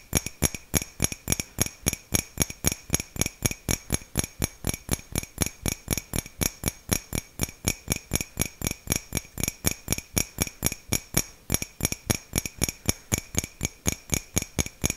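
Fingernails rapidly tap a hollow white ceramic mug with a dark print, held close in front of the mic. About 67 quick, distinct clicks land at roughly four per second, each pairing a short low thump with a bright, glassy ring that dies away almost immediately.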